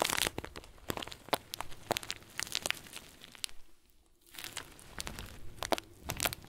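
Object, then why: Plastic bag filled with small foam beads. A round clear plastic bag full of tiny white foam beads is squeezed and crinkled with fingers and thumb. It gives dense, bright crinkling with sharp crackles and rustling bead shifts. The sound pauses briefly near the middle, then resumes.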